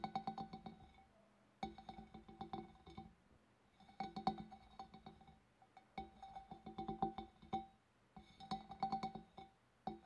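Long black nails tap from above on the wavy rim of a large, hollow, empty clear glass fish bowl. Quick bursts of light clicking taps come in about six groups, each tap giving a short glassy ring with a clear tone near 770 Hz and bright overtones. Quiet pauses fall between the groups.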